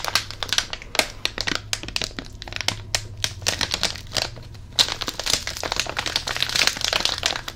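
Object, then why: Flat plastic foil candy packet. A flat plastic foil popping candy packet is crinkled and handled with the fingers. It gives dense, bright crackles and crinkles in quick, uneven bursts, with a faint steady low hum underneath.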